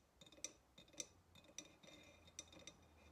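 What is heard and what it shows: Long nails tap around the neck and rim of a hollow ceramic vase standing upright. The quiet, irregular taps land as short, bright clinks with a faint high ring, a few standing out louder than the rest.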